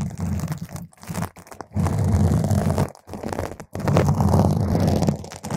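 Long nail tips scratch around the surface of a round purple foam microphone cover, producing dense, crunchy, rumbling scratches heavy in low frequencies. The scratching comes in sustained bursts separated by brief near-silent pauses.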